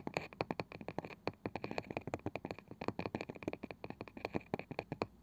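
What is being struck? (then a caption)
Small round wooden box with woven side band. Fingertips and long nails tap and scratch the pale wooden lid of a palm-sized round wooden box with a woven, ridged side band that appears hollow. About 37 quick, dry taps in an uneven rhythm each give a short hollow knock around 500 Hz with a bright click near 2.5 kHz, dying away almost instantly. Soft scratchy rasps fill the gaps between them.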